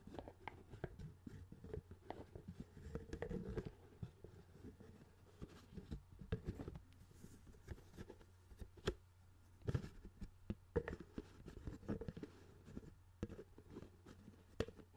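Fingertips tap the dome lid of a clear, hollow plastic CD spindle case with discs inside, and at one point the case is held over the microphone. The result is a quiet, irregular stream of short, dull plastic taps and light patter that die away almost instantly, over a steady low hum.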